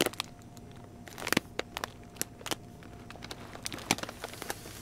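A small yellow Pedigree puppy food bag made of glossy plastic, 3.5 lb and full of kibble, is held in both hands and squeezed with fingertips and nails. It makes a steady run of sharp, bright crinkles and crackles over a quiet background. Each one snaps off almost instantly, with a few louder pops near the middle and end.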